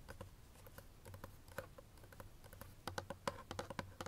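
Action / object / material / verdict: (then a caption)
tap / small paperboard box / paperboard / none. Fingernails tap a quick, uneven run of light clicks on the side face of a small, hollow, empty white paperboard inner box. Each tap is a short, dry tick with a faint hollow tone in the midrange that dies away almost instantly, over a quiet low hum.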